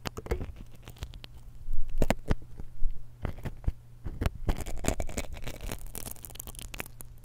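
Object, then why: Metal microphone capsule scratched with a steel pick. A steel dental pick scratches and taps the capsule end of a small silver X/Y stereo microphone while the other hand holds it. The result is close, dry scratching with sharp clicks and ticks over a steady low hum, swelling into brief louder rubbing bursts.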